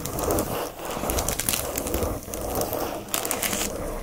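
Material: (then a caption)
Plastic film. Fingertips and nails scratch quickly across a flat watercolor paper pad wrapped in a glossy plastic sleeve. The result is a dense, continuous crinkling scratch with bright crackly detail over a low rustle, dipping briefly between strokes.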